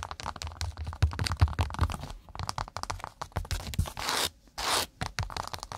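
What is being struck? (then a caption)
Cork pot trivet. A cork pot mat is tapped and scratched with long nails in fast, uneven bursts of dry, crunchy scratching and tapping. Near the end come two longer, brighter scrapes separated by short pauses.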